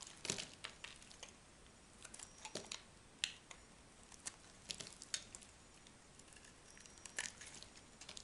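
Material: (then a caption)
Soap. A small metal knife scrapes and chips a solid, partly carved orange-and-white striped dry bar of soap held in the hand, and the chunks fall onto a pile of soap shavings. Quiet, bright, crisp scraping crackles and sharp snapping clicks come in irregular bursts with almost no ring.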